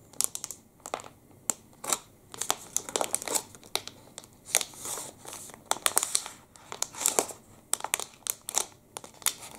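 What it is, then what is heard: Plastic candy wrapper, crinkled. A full, long, thin black and red plastic wrapper of a Panda Pepe liquorice stick is rubbed and crinkled with the fingertips. Many sharp, bright crinkles and crackles come in quick bursts with almost no low end. Each one stops at once, leaving quiet gaps between bursts.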